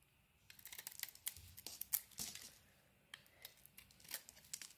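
A solid brown and white bar of soap, held in the hand, is carved and shaved with a metal blade, producing soap flakes. Quiet, crisp scraping and crackling bursts come in quick clusters, bright and airy with almost no low end, and there is a brief lull before the cutting resumes.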